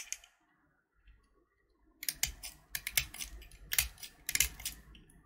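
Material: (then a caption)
Sugar shell. A small, solid purple sugar-shell chocolate button (Gems candy), held in the fingertips, is scraped with a metal utility knife blade, and flakes of the shell come off. A short crisp scrape opens the clip, followed by near silence and a faint tick. From the two-second mark, a dense run of bright, dry scraping and crackling bursts begins, each dying away almost instantly.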